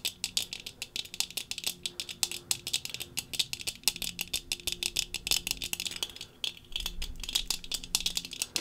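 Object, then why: Metal-frame sunglasses with tinted lenses. Long fingernails on both hands tap rapidly over the brown tinted lenses of thin metal-frame sunglasses worn on the face. The result is a dense stream of bright, crisp clicks that die away almost instantly, with a faint low hum running underneath.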